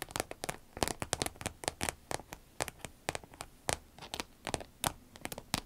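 Long red nails tap and scratch along the top and zipper of a small, hollow, soft cylindrical green vinyl zip pencil case. The result is a rapid, uneven run of dry, crisp clicks and crackly scrapes that reach up into bright highs. Each sound dies almost instantly, with no ring.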